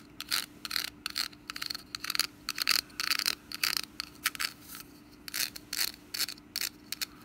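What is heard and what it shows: Long nails scratch and tap the woven surface of a hollow, orange wicker pumpkin lid with a wooden stem. Dry, bright, crackly bursts of scratching alternate with short, sharp taps, over a faint steady low hum. Each sound cuts off almost instantly with no ring.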